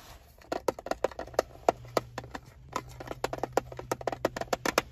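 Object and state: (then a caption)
Plastic screwdriver bit case. A small hard screwdriver bit case with a clear plastic lid and red trim, full of metal bits, lies on a car seat and is tapped and scratched on its lid and sides with fingertips and nails. A quick, uneven run of sharp, dry plastic clicks with a mid-range tone stops almost instantly, with faint scratching and a low steady hum between taps.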